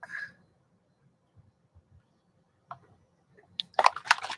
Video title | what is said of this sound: #RobynsGelliTeam -- Robyn McClendon's December PrintAbles -- Patti Tolley Parrish | it's got a mixing ball in it that you have to break loose sometimes it gets stuck at the bottom you gotta shake it loose so you can hear it